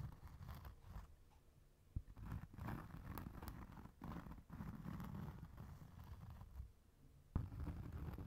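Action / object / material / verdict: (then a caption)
scrape / cork coaster / cork / none. Fingertips and short nails tap and scratch the granulated surface of a round, flat, solid cork trivet or coaster held up over a second coaster. The sound is quiet, soft and muffled, mostly low scratching and dull tapping with little brightness. Two sharper taps stand out, near the 2-second mark and again just past 7 seconds.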